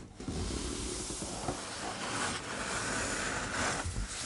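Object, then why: Large paper art book with laminated hardcover. Fingertips and a flat palm rub and trace across the thick blank paper pages of a large open art book, then the book is closed and the hands touch its glossy laminated lilac hardcover. A steady, hissing friction sound with soft page rustles fills the clip, brightening in bursts as the hands sweep across the surfaces.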